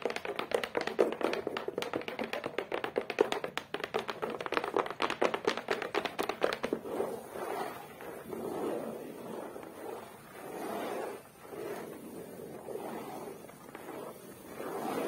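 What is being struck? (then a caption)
Cork board backing of a photo frame. Long acrylic nails tap quickly on a flat beige cork-textured board, the back of a photo frame with a black frame edge, striking both the surface and the edge. For the first half the taps come in a fast, dense run of short, dry, mid-pitched clicks with little bass. They then give way to softer, slower swelling sounds for the rest of the clip.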